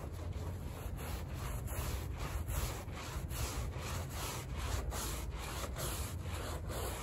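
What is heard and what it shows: A gloved hand scrubs the soap-foam-covered pile of a small, patterned woven fabric rug on plastic sheeting with a stiff-bristled hand brush, working to clean off mud. A continuous, steady run of rhythmic rasping scrub strokes is heard over a low, rumbling bed of noise, with little high-end content.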